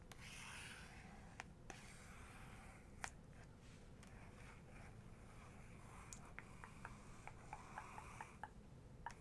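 Long nails trace over the paper of a full-page photo in an open photography book, making a soft, continuous scratchy rub over a low, steady rumble. Small sharp clicks from the nails catch on the page throughout, growing more frequent toward the end.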